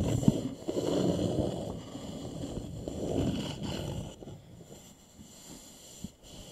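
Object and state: Wooden bowl.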